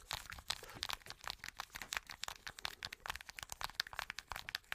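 Long nails scratch and tap a small plastic blister card with hollow bubbles, producing a quick, dense run of bright crunches, crinkles and sharp cracks. Each snap dies away almost instantly, with little low end beneath the quiet, crisp clicking.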